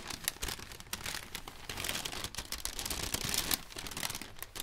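An empty, striped popcorn bag of thin paper is flicked open and crinkled by white cotton-gloved hands. Dense, bright crumpling and crackling runs continuously, with sharp papery snaps scattered throughout and little low-end weight.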